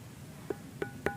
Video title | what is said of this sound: Misteri Gunung Padang, ada apakah di sana? | Ini makanya disebut batu gamelan karena ada bunyinya. Tuh, ada 4 nada ini.